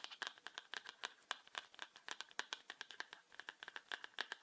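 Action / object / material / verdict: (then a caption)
tap / plastic highlighter pen / plastic / none. A small yellow hollow plastic highlighter pen is held in the hands and tapped and scratched with fingertips and short nails, making a fast, irregular run of about thirty quiet, dry clicks. The taps are bright and hollow, centred around 1.6 kHz with no low end, and each dies away almost instantly. A slight rattle comes from inside the pen.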